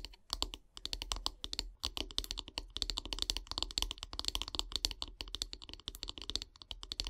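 Long grey nails tap rapidly on the solid wooden handle of a bristle brush. The result is a dense, quick stream of sharp, bright clicks with almost no ring and a light low thump beneath.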